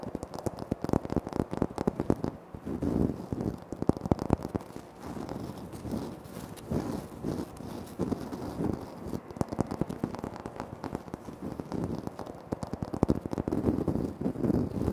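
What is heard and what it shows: Fingertips and short nails tap and scratch quickly across a flat, solid, speckled granite floor tile right in front of the recorder. The result is a dense, crackly stream of dry clicks and scrapes with a low, muffled body and almost no ring. It keeps an even level over the whole clip.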